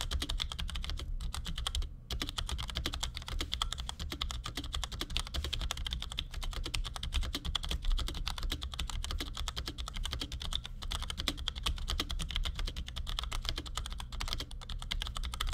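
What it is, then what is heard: Plastic mechanical keyboard. A compact black plastic Cherry G84-4100 keyboard with ML switches sits on a desk and is typed on with the fingertips of both hands in quick taps. The result is a steady, rapid stream of short, bright clicks, with a brief pause near the two-second mark, over a constant low hum.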